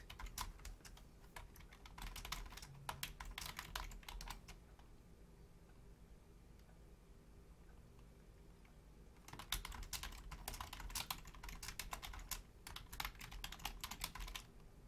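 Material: Plastic.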